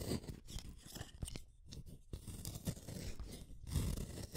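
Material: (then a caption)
Wood. A solid purple wooden colored pencil is shaved with a small metal blade in a yellow holder. The clip is a run of dry, crunchy scraping strokes, heavy in the low end, with brief quiet gaps between bursts and short bright shavings on top.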